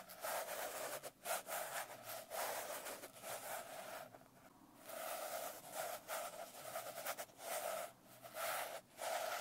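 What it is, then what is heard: Glitter-covered hardcover notebook being scratched. Long nails scratch and rub the coarse glitter cover of a closed blue glitter hardcover notebook. The result is a dense, gritty rasping with a strong midrange scrape and bright hiss, coming in steady bursts separated by brief pauses.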